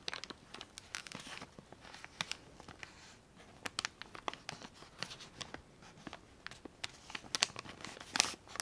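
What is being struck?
Plastic zip bag of cotton swabs.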